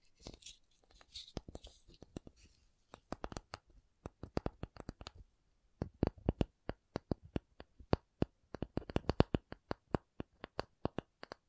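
A cardboard object is tapped with quick, dry, muffled taps that die away at once, preceded by a second or two of soft scratchy rustling. After a brief pause near the middle, the tapping resumes faster and slightly louder, bunching into rapid runs toward the end.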